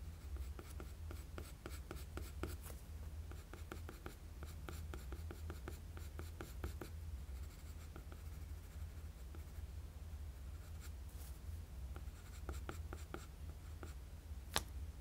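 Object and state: Pencil strokes on drawing paper.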